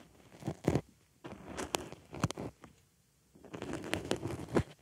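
A wooden stick scratches and pokes into the center hole of a white foam makeup sponge resting on a microphone ear. Close, soft crackling and rustling scrapes come in several bursts separated by brief quiet gaps, with muffled low thumps as the stick presses into the foam.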